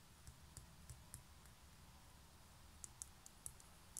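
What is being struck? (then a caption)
Small concrete pen holder. Long nails tap and scratch the outer wall and edge of a small hollow grey concrete pen holder held on its side. About ten quiet, short, bright clicks land irregularly over a soft scratching and low rumbling background. Each tap dies away almost instantly.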